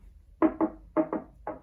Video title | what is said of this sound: Velodyne Impact X 12 | it's a bit thinner than on the 15. Not by much.